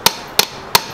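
A new, genuine Kia steel and rubber crankshaft damper pulley is struck three times, each hit giving a sharp, bright metallic knock with a tone near 930 Hz that dies away almost instantly. The new pulley sounds solid and normal, clearly different from the worn one.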